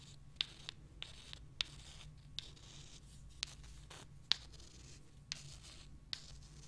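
Long nails scratch and rub the surface of small, solid limestone rocks held close, making a quiet, bright, dry scraping texture over a faint low hum. About ten short, sharp clicks stand out at uneven intervals, each dying away almost instantly.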